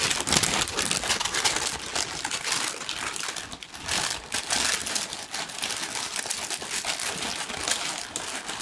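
A large, thin pink tissue paper sheet is crumpled and rubbed between fingers. It makes a steady stream of dense, bright crinkling and crackling for about nine seconds, dipping briefly in loudness midway before picking back up.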